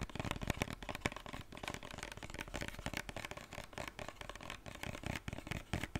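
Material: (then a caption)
Plastic. A white plastic cosmetic lotion bottle with a pump cap is tapped and scratched with fingertips and nails. Quick, dry taps blend into a steady scratching rustle with a low thump beneath and a crackly brightness on top, with no ringing after each touch.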